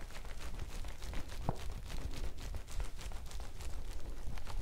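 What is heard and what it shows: A folded yellow woven polypropylene bag is held up in both hands while long nails scratch it and fingers squeeze it. The result is a steady, dense crinkling and scratching with quick bright rasps over a low rumble.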